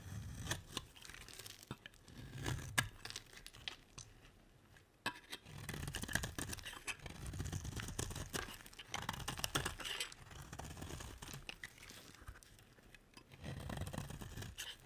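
A metal utility blade carves a solid bar of dry green soap, letting flakes fall onto a pile. Bursts of crisp, crackling scraping come in uneven strokes with soft low thuds underneath, separated by brief quieter pauses.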